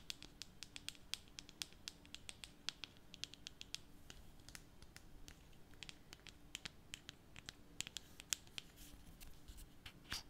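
A small glass foundation bottle, partly full of beige liquid, is held in one hand while the fingertips and nails of the other hand scratch and tap its black plastic cap. Quiet, rapid, irregular clicks and bright scratchy ticks, each very short with almost no ring, sound over a faint steady low hum.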